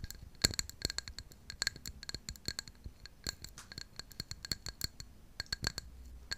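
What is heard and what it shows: Long pink nails tap and scratch the outer surface of a tall white ceramic mug with a blue floral pattern, held up close. Rapid, bright clicks and short scratchy strokes come in quick irregular bursts, each with a thin high ring and almost no decay, over a quiet low hum.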